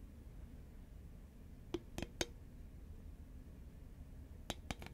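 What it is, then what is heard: Cardboard snack tube tapped with fingernails. Long fingernails tap the side of a green Pringles cardboard can, which is tilted and then set upright. Six short, dry clicks with a bright edge come in two groups of three over a quiet, low background hum.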